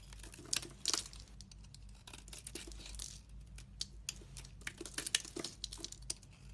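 A solid, translucent, glittery brown bar of soap with a red rim is held in the hand and shaved with a metal utility knife blade. The blade makes a bright, crinkly scraping broken by quick, sharp ticks and crackles, over a faint steady low hum.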